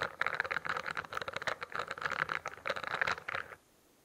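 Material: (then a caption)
Plastic. Fingertips and nails scratch and tap the studded plastic cover of a closed spiral notebook held in front of the mic. A quick, dense run of crisp, crackly taps and scrapes with a bright midrange edge continues for about three and a half seconds. It then stops abruptly, leaving near silence.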